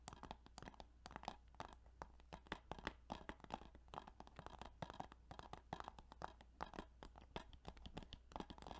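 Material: Plastic.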